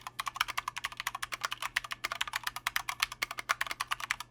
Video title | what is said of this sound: Corsair K65 RGB Mini Review: Too Little; Too Late | the board has a pretty decent tone but it's also got ping for days it sounds hollow and it's really loud